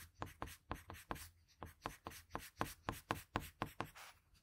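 A patterned blue wooden graphite pencil makes short, scratchy strokes on a sheet of drawing paper, shading the hair and eye of a drawing. Sixteen quick, separate scrapes come at an uneven pace, each a soft, brief rasp with a bright, hissy edge and no ring.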